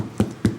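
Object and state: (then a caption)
Ripe pumpkin. Two knocks on a whole French pumpkin to check its ripeness give deep, drum-like hollow thumps with a low tone around 110 Hz that die away quickly. The pumpkin is ripe.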